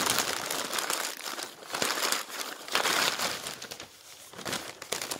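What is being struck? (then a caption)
Newsprint newspaper. Fingertips flatten and turn the pages of a newsprint newspaper lying on a table, then gather and crumple the sheets. Dense, bright rustling and crinkling fills the clip with almost no low end, swelling and easing in short bursts as the paper is handled.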